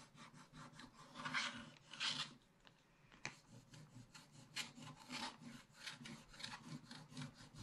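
A wooden stick scratches in fast strokes across a flat scratch-art paper page with a black wax layer, removing the coating. Dry, bright rasping strokes come in an uneven rhythm, with a short quieter pause near the middle before the scratching picks up again.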